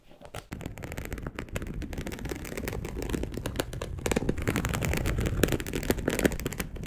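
Long acrylic nails on both hands scratch a dark brown perforated polyester mesh fabric sheet laid flat, making a dense, rapid run of dry, crackly scrapes. After a short, quiet start the scratching holds a steady level and grows louder and busier from about the four-second mark.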